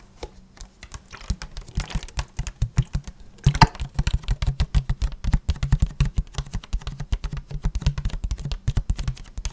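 Fingertips and short nails tap and scratch the sides of an empty, hollow, medium-size clear plastic (PET) water bottle with a blue cap. Dozens of quick, soft taps come in a steady, uneven patter. Each is a short, dry, low hollow thump with a little bright scratchy click on top, and none of them ring on.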